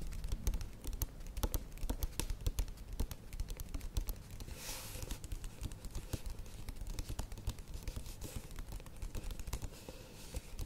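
A plastic yogurt tub with a lid is held and tilted in the hands while long nails tap and scratch its side and base. Rapid, dry, uneven taps with a dull, low body die away almost instantly, broken by brief bright scratching hiss around the middle and again later.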